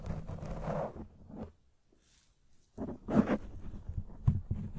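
Both hands grip a soft, porous, fist-sized black foam windscreen over a microphone and scratch it with fingertips and short nails. The result is a dense, low, muffled rumbling scratch that drops to near silence for about a second. It then returns with louder rubbing bursts.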